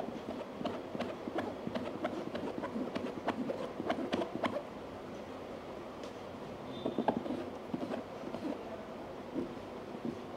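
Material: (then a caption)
EVA foam. Fingertips and nails of both hands tap quickly on the lid of a medium, hollow, black molded hard-shell EVA headphone case. The result is a run of quiet, dry, hollow clicks with a mid-pitched knock that dies almost instantly. Steady tapping over the first four and a half seconds gives way to a softer stretch, then a brief cluster of sharper taps and a few scattered ones near the end.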